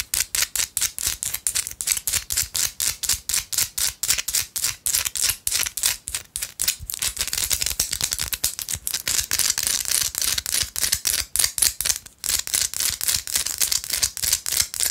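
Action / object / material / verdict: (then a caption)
tap / small rock-salt chunk / rock salt / none. Long light-blue acrylic nails rapidly tap and scratch a small, solid pink rock-salt chunk held in one hand. Crisp, bright clicks come in quick, uneven bursts. Later they blur into a denser, near-continuous scratching rattle with almost no low end.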